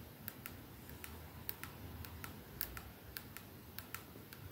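Long painted nails slowly tap on a 212 perfume bottle held in the hands, striking its silver metal sleeve and glass domed ends. About fifteen short, bright clicking ticks ring out briefly, each dying away quickly over a steady low rumble.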